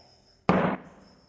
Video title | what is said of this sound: 9 PHY CL26 | When I knock this board, you can hear some sound